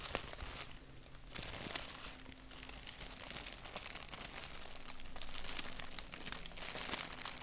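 Fingertips scratch and rub a thin, wrinkled white paper sheet printed with a black doodle. The result is a steady stream of quick, dry crinkles and scratchy rustles with bright, hissy texture. The sound is soft and close throughout, with a faint low hum underneath.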